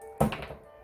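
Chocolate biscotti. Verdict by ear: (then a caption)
Dry. A finished chocolate biscotti is snapped in two, giving a sharp, crisp crack followed by a couple of smaller crackling snaps that fade quickly. The crunchy break shows there is little moisture left inside, which is why it keeps longer than cookies, madeleines or muffins.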